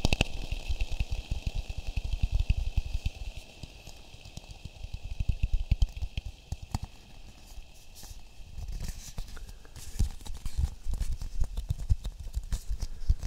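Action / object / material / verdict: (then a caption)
tap / half coconut shell / coconut shell / none. A polished brown half coconut shell, hollow, empty and about hand-sized, is held close and tapped and rubbed with fingertips. Dense, dull low thumps and soft scratchy rubbing come in waves, with quieter stretches around the fourth and eighth seconds. The taps are short and dry, with almost no ring.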